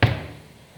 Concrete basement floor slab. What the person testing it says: A little bit solid here, it's hollow here